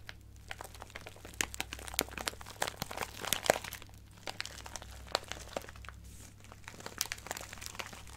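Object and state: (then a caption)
Plastic bag of craft gems crinkled. A small clear resealable plastic bag with a cardboard header, full of colorful acrylic craft gems and sequins, is held in both hands and crinkled and squeezed with fingertips and long painted nails. Dense, bright plastic crinkling and crunching comes in uneven bursts over a faint steady low hum, with sharp clicks as the gems shift inside.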